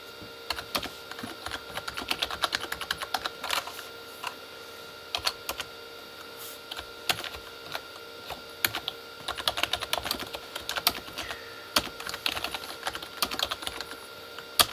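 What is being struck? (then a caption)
Plastic keyboard with plastic keycaps. Fingertips of both hands type on a full-size Corsair K35 backlit mechanical keyboard with plastic keycaps on a hollow plastic body. Bright, sharp plastic taps come in irregular bursts, each dying away almost instantly, with almost no low end. A faint steady tone runs underneath throughout.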